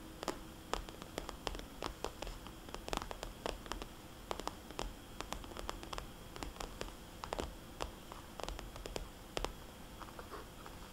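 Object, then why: Plastic cosmetics bag. A small, red polka-dot, glossy plastic cosmetics bag, hollow and flexible, is tapped with long nails and turned on a table. Quick, sharp, bright clicking taps come in uneven bursts, each dying away almost at once over a low, steady hiss. Faint plastic crinkles and rustles sound between the taps as the bag shifts.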